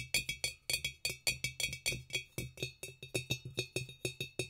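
A glass demijohn is tapped in a quick, uneven rhythm, giving about two dozen bright, glassy clinks. Each clink is short and high-pitched, ringing near 2.5 kHz and fading almost at once.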